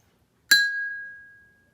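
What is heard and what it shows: A glass cup of water is tapped once with a metal spoon, giving a bright clink that settles into a clear ring near 1.6 kHz and fades over about a second. More water in the cup gives a lower pitch.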